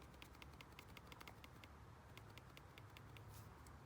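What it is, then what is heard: Genuine fuel pump with little internal play. A genuine Bosch 044 metal electric fuel pump is shaken, giving a quick run of faint, light internal clicks and rattles over a low background hum. It has a little play inside, but far less slop than a knockoff, which is normal for the genuine pump.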